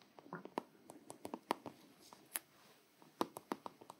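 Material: Plastic.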